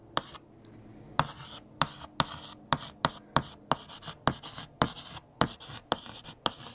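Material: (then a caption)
Chalk. A stick of purple chalk held in the fingertips scratches and taps across a large, flat, solid black chalkboard while writing "Fact #29: Scotland." Sharp, bright chalk taps come in quick succession, with soft scratchy strokes and a faint low hum between them.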